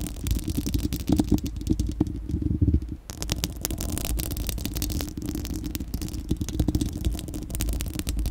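Long acrylic nails on both hands scratch a bare, round, hollow-dome steel-mesh microphone grille. They make a dense, rapid scratching clatter with a heavy low rumble and a steady hum near 300 Hz. The clatter briefly softens around the three-second mark before continuing just as busy.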